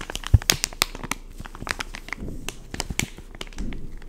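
Fingertips grip and squeeze a full, soft white and yellow plastic pouch of wet wipes lying on a wood-pattern table. The result is a run of dense, bright crinkling and crackling, with sharp snaps standing out near the start.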